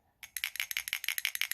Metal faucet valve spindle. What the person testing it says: you can hear that piece on the inside of here back where my finger is rattling around